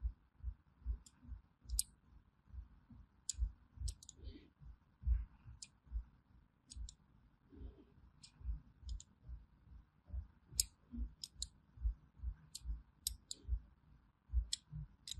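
A small thin metal blade scores diagonal grooves into a solid orange bar of hand soap held in the palm, scratching and cutting into it. Quick, bright scraping clicks come at an uneven pace over soft, low, dull thumps, each dying away almost at once.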